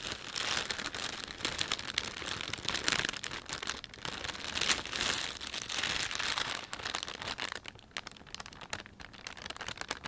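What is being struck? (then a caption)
Thin plastic bag. Fingertips rub and press the film of a thin, empty panda-print plastic shopping bag, producing dense, continuous crinkling and crackling. The sound is bright with almost no low end, swelling and easing in loudness throughout and growing softer and sparser in the last few seconds.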